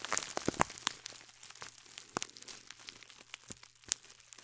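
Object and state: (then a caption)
Scouring sponge in a plastic bag. Fingertips and long nails crinkle and scratch a loose clear plastic bag holding a single gold glittery scouring sponge. The result is dense, bright crinkling and scratching, punctuated by sharp, crisp snaps over a faint steady low hum.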